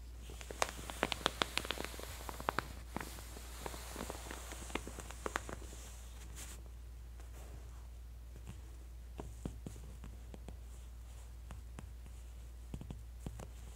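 An open J. Jill clothing catalog of thin, glossy paper lies flat on a floral backdrop while a flat palm and fingertips with long, manicured nails press and rub the same two-page spread. Soft, bright paper crinkles and rustles are dotted with sharp, quick ticks and taps, busiest early on and sparser later. A steady low hum sits underneath throughout.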